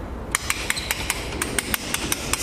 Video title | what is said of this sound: MP - Disjuntor em moto?? Dicas legais, Parte 1 | aqueles sliders que giram né imagina a barulheira ó Tá super solto